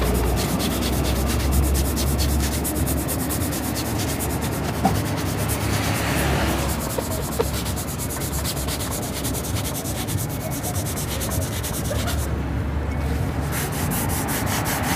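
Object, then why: Leather dress shoe rubbed with a cloth. A shoe shiner buffs a polished tan-brown leather loafer, worn on a foot, with a cloth held in his fingers, rubbing the same shoe continuously. The result is a steady, fast, loosely regular scrubbing hiss over a low-heavy rumble, with only a few faint sharper ticks.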